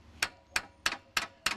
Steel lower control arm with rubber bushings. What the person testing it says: when we hit the lower A frame down here, it's clunking because it is play